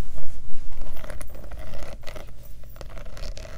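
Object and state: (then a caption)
Studded faux leather clutch purse. Long nails tap and scratch rapidly over the rows of metal studs and rhinestones on a black studded faux leather clutch purse with a metal turn-lock. The result is a fast, uneven stream of light clicks and scrapes over a low hum, loudest at the start and then settling into a steady patter.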